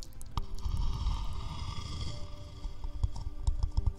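A small, hollow, empty, round wooden bowl is held in one hand close to the mics and tapped with the fingertips. The taps are soft, dull, low thumps that die away almost at once, with a few sharper knocks toward the end.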